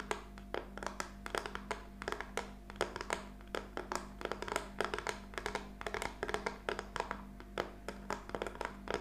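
A small flat plaque made of black-painted wooden popsicle sticks lies on a table and is tapped and scratched with long nails. A rapid, uneven stream of short, dry, woody clicks and taps rings out with light scratching between them, over a steady low hum.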